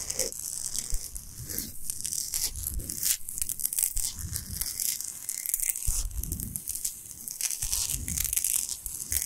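Long nails scratch fast and hard across a large, flat, solid pink Himalayan salt block. The result is a dense, continuous run of rough, bright scraping and crackling over soft, low rumbling thuds, with no pauses.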